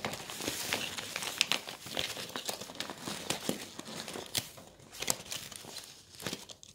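Fingertips flex and crinkle the thin stacked pages of a glossy coated-paper brochure resting on a table. The result is a steady, bright crinkling with sharp crackling snaps scattered throughout, little low end, and no ring after each snap.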